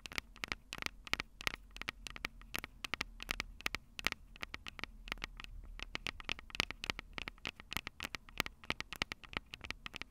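Long purple nails tap and scratch the silver metal mic capsules of a Tascam DR-05 handheld recorder with a cable plugged in. Rapid, dry, bright clicks and scratchy patters follow each other irregularly, each cutting off instantly with no ring, over a faint low rumble.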